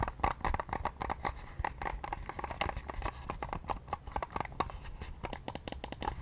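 Long nails from both hands tap and scratch the pale pink hard plastic oval shell of a facial cleansing device. Quick, dry clicks with short scratching strokes come in a rapid, uneven stream, with a hollow tone around 800 Hz and very little ring.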